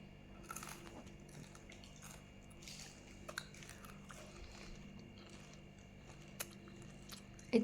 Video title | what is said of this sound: दुधी भोपळ्याची अशी रेसिपी बनवून नक्की बघा वारंवार बनवून खाल | तोडताना याचा कुरकुरीत आवाज येतो